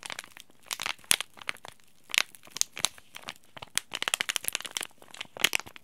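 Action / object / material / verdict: scrape / laminated plastic-foil tea bag packet / plastic foil / none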